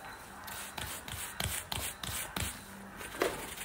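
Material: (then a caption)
Suede. A round wooden-backed bristle brush scrubs the side of a worn black suede boot with a patent toe. Seven short, bright, scratchy strokes rise out of a steady soft hiss, and the last one is slightly louder.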